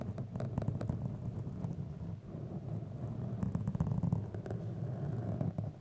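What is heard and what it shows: A black, soft, porous foam windscreen over a microphone is scratched and rubbed with the long manicured nails of both hands. A dense, low, rumbling scratch continues throughout, heavy in the lows, with quick crackly strokes.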